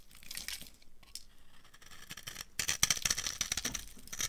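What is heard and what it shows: A translucent amber-orange bar of dry laundry soap, held in the hand, is carved and scraped with a metal knife blade into crunchy flakes. Soft, bright scraping and crinkling comes first, then a louder burst of sharp, crisp crunches and snaps in the second half.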